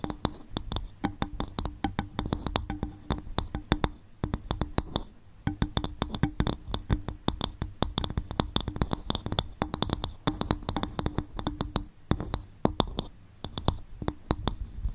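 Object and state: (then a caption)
Hollow empty coconut shell bowl. Long fingernails tap and scratch an upturned, hollow, empty coconut shell bowl in a steady run of quick, dry clicks. Each tap is brief with no lingering ring, giving a low hollow body tone and bright, crisp edges, with short scratching passages between the taps.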